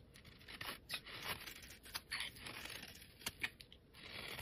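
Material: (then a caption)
Soap. A steel utility blade shaves and scrapes flakes off the surface of a solid, hand-sized, rectangular yellow bar of soap held in hands with painted nails. Bright, dry rasping scrapes come in short strokes, with a few sharper crisp snaps standing out. The shaving sound is mostly high and crackly, with little low end.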